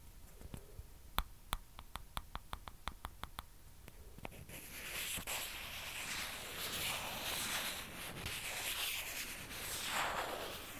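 Long dark nails tap a small, hollow, white plastic ping pong ball held in the fingers, making a quick series of sharp, bright clicks. The nails then scratch and rub its surface in a steady, hissy rasp that swells and fades for the rest of the clip.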